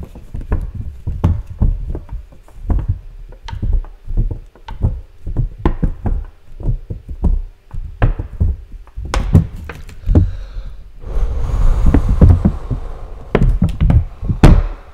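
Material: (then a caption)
Plastic. An empty clear plastic blister tray with molded cups is held in the hands and knocked and tapped with the fingers. The result is a steady run of short, dull, low knocks and thunks that die away almost instantly. Near the end comes a denser stretch of crinkly rustling.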